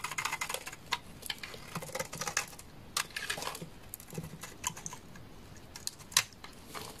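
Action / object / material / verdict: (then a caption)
scrape / bar of laundry soap / soap / none. A utility knife blade scrapes a solid bar of dry amber laundry soap held in the hand, curling shavings off it. The result is a quiet, irregular run of crisp, bright scratching and crackling strokes that die away quickly, with little low end.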